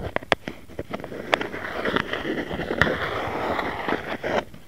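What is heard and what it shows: Fingertips and nails tap and scratch the top of a round white plastic jar lid with a printed label, hollow underneath and lying on a mat. Sharp, clicky taps with a brief hollow ring around 1.9 kHz punctuate a steady, gritty scratching rasp. The sound quiets near the end.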